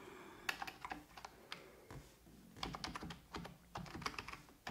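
A full-size black plastic computer keyboard on a wooden desk is typed on with fingertips and long red-painted nails in rapid key tapping. The clicks are quick and bright, with short clattering bursts separated by brief pauses.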